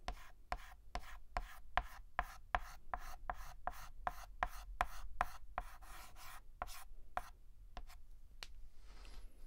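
A hand hatches a letter on a large, flat, black painted blackboard with a stick of white chalk, making about twenty rapid, short scratching strokes. Each stroke is a dry, brief rasp with a mid-pitched edge around 720 Hz and almost no ring. The strokes give way to a softer, fainter rubbing at the end.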